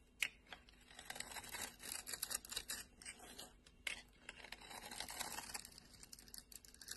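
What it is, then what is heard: Bar of soap being scraped. A metal blade scrapes the carved pattern off a solid orange bar of soap, leaving its surface smooth. The quiet, bright scraping is full of dense, crisp crackles and short ticks, with almost no low end.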